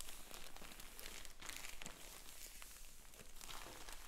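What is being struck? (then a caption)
Filled polyethylene shipping mailer. A sealed, filled yellow polyethylene shipping mailer lying on a wooden table is pressed, rubbed and crinkled by fingertips and black finger sleeves. Soft, continuous plastic crinkling and rustling comes through, with bright crackly bursts over a low rumble.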